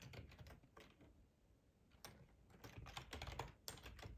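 Fingertips of both hands tap on a black plastic split ergonomic computer keyboard with a hollow body. Quick, irregular clicks and low, hollow thumps come in bursts with brief, bright key strikes. The typing eases into a softer lull in the middle, then picks back up with sharper, denser keystrokes toward the end.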